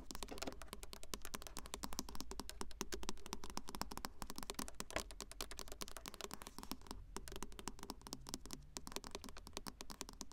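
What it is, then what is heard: Car touchscreen tapped with acrylic nails. Long acrylic nail tips rapidly tap and sweep across the flat glossy touchscreen of a car infotainment radio unit in the dashboard. The result is a dense stream of sharp, dry clicks with light scratching between them, over a steady low hum.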